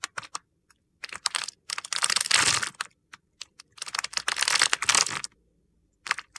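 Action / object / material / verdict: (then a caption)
scrape / bar of soap cut with a knife blade / soap / none. A solid white bar of soap held in the hand has its surface scored and shaved with a utility knife blade, and small crumbly soap cubes fall off. Short, crisp, bright ticks and scrapes alternate with two longer bursts of dense, gritty crunching. Each stroke is dry and brittle, with almost no low end and little ring.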